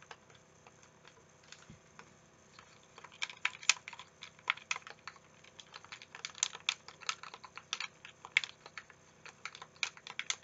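A translucent green, hand-sized, hollow plastic Xbox-style game controller is held in both hands while the thumbs and fingertips press its buttons. Sharp, bright plastic clicks come sparse and soft at first, then grow louder and quicker after about three seconds, each dying away almost at once.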